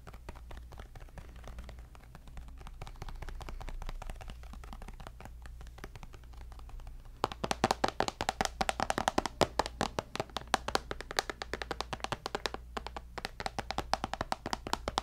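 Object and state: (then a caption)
Tablet glass screen tapped. A tablet with a glass screen is held beside the mic and its screen is tapped with fingertips and nails. For the first seven seconds the tapping is soft and close over a steady low hum. It then turns into rapid, sharp, bright clicks that stop short with almost no ring.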